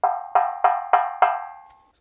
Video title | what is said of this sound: Easier Way To Stop Metal Speaker Stands from Ringing | 如果您里面没有任何东西，它是空心的，那么它听起来就像疯狂的